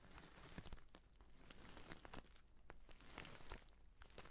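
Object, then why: Paper tea pouch. A filled, orange-printed stand-up paper tea pouch is gripped in both hands while fingernails tap and scratch its lower part. Soft, quiet crinkling and papery scratching are broken by many quick, bright ticks, each fading almost at once, over a steady low hum.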